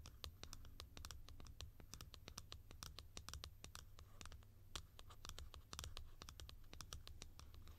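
Long nails scratch the textured top and grille of a tall, hollow blue plastic cap. Rapid, bright, crisp scratches and ticks sound over a steady low hum.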